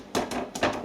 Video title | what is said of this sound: Mince & Onion "Plate Pie" | when you tap it it's got a hollow sound that sounds cooked